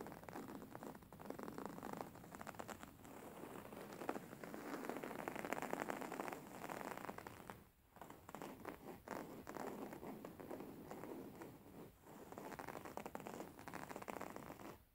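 A beige fabric throw pillow printed with black squares and silver circles is held upright and scratched by fingertips and nails. It makes a soft, dense scratching and crackling rustle, mostly in the midrange. The sound is quiet and nearly continuous, with brief pauses around the eighth and twelfth seconds.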